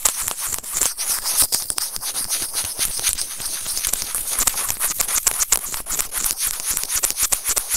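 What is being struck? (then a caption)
Small plastic in-line earphone remote with microphone, scraped with plastic tweezers. White plastic serrated tweezers held in fingers scratch and rub the small, hollow white plastic in-line remote of Apple earphones, which is also the recording mic. The result is a dense, continuous run of bright, crackly scraping, with quick, irregular bursts and very little low end.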